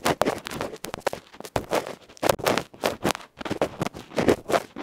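A bamboo ear pick scrapes across the dark felt front and metal rim of a small electret microphone capsule, a metal can with a felt cover, held in the fingers. Quick, irregular bursts of loud, scratchy, crackling friction come right up against the mic. Each stroke is broad and bright and stops abruptly, with brief near-silent gaps between them.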